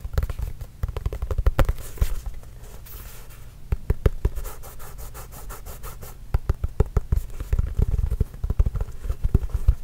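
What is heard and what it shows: Fingertips and nails tap and scratch on a hollow, inflated Spalding official NBA leather game basketball. Quick, dull low thuds with short bright clicks alternate with quieter stretches of soft scratching and rubbing. Each tap dies away almost instantly.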